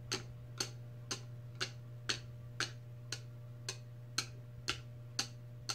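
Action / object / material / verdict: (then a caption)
tap / plastic lid of a stainless steel tumbler / plastic / none. Long red nails tap and click on the clear plastic lid of a large stainless steel tumbler. Twelve short, bright clicks come at a steady, unhurried pace, each dying away almost at once, over a constant low hum.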